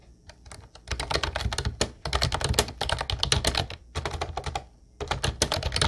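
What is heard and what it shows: Fingertips type continuously on an Ubotie mint-blue plastic retro typewriter-style keyboard with round white keycaps. Quick bursts of bright, clacky keystrokes with a low plastic thump underneath die away almost instantly, separated by short pauses between runs.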